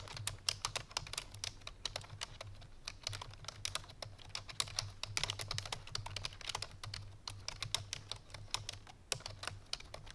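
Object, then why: Plastic computer keyboard. Fingertips and painted nails of both hands type quickly on a full-size black plastic computer keyboard resting on a white fur rug, while nearby tumblers stay untouched. A dense, steady stream of short, bright, clicky keystrokes dies away almost instantly, over a faint low hum.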